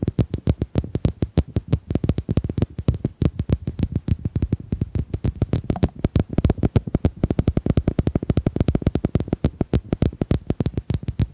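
Domino tiles are tapped in a fast, uneven stream of about 80 short, dry clicks, roughly three to four per second. The taps are dull and low-pitched, with almost no ring after each one.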